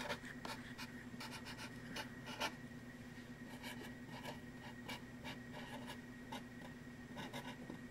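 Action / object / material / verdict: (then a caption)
scrape / stretched linen or cotton canvas on a wooden frame / canvas / none. A black marker tip is written and drawn across the back of a taut linen or cotton canvas stretched on a wooden frame, hollow behind. It makes short, scratchy rubbing strokes with bright, papery bursts over a steady low hum and faint tone.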